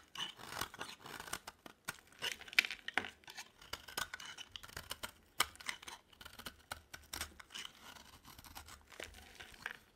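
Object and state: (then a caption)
Dry soap bar being shaved. A utility knife blade scrapes a solid oval bar of dry green soap held in the palm, shaving off thin curls. Quiet, dry, crisp scraping strokes come in an irregular series, bright and papery with a few sharper clicks and almost no low end.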